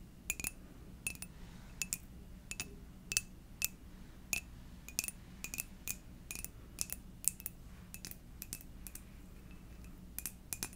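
A white ceramic coffee mug with a fox print and a purple inside, hollow and apparently empty, is tapped with long dark nails. The result is a series of short, bright clinks with almost no ring, scattered irregularly over a low background hum.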